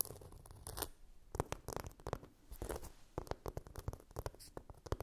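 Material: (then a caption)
Glitter plastic. Long nails scratch along the surface of a blue chunky-glitter phone case with camera cutouts. Dry, gritty scratching comes in quick, uneven strokes and bursts: some are drawn-out rasps, others short crackly flicks. Each has a bright, sandy top over a soft low rumble.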